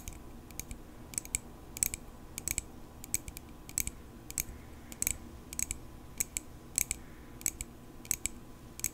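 Long pink acrylic nails tap a small, solid silver metal pocket knife held up near the face. Quick, sharp, bright clicks come in short clusters at a steady pace, each with a thin high tick that stops almost at once, over a faint low background hiss.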